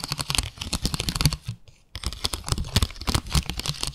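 Long acrylic nails tap quickly on a small, flat, clear plastic plate with parallel ribbed grooves, making rapid, dry, clicky taps with a little low thump behind them. The tapping stops briefly just past halfway, then resumes at the same fast pace.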